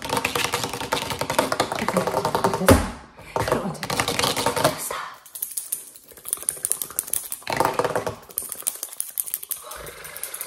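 Long metal claw finger rings and nails rapidly tap and scratch a flat grey-green textured rubber mesh liner mat resting on a wooden table. Dense, irregular clicks and raspy scratches run through the clip, with a loud burst near the start, a brief drop, and a quieter, sparser stretch of bright ticking before another flurry.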